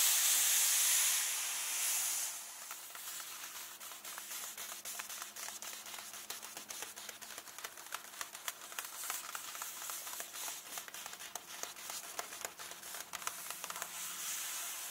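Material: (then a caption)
Glossy paper. Fingertips and nails tap and scratch a full illustrated glossy page in an open hardcover book. A loud, bright, hissing scrape fills the first two seconds, then gives way to quick, crisp taps and light scratches that keep a fairly steady rhythm to the end.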